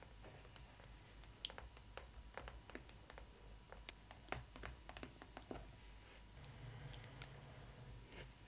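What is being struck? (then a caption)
Printed cardboard box. Long nails scratch and tap on the Stitch cardboard cutout of a printed cardboard Disney ily 4ever Stitch doll box. Quiet, dry, short clicks and scratches scatter across a low steady hum, with a few brighter, sharper taps standing out.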